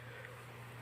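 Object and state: Nothing is struck.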